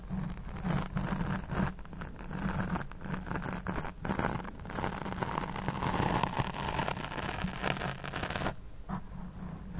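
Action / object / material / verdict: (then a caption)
scrape / foam microphone windscreen / foam / none. Long nails scratch and stroke a black foam windscreen over a large studio microphone while the other hand holds the mic body. A dense, continuous close-up rustling and scraping with a heavy low rumble fills the clip. The texture stays steady until the last second, when the scratching turns softer and duller.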